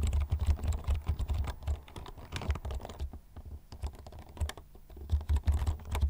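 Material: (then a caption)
Plastic. Fingertips type steadily on a full-size black plastic computer keyboard with taller keys, held upright close in front of the mic. The key presses come as rapid, dense clacks with a deep, boomy low thump under each stroke and short bright ticks on top. The typing eases briefly in the middle before picking back up.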